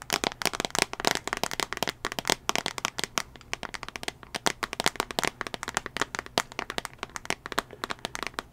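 Long fingernails tap rapidly on the back of a small tablet's solid teal plastic case and then on its glass screen. The taps are sharp, dry clicks with no ring, bright and thin with almost no low end, coming in quick irregular bursts.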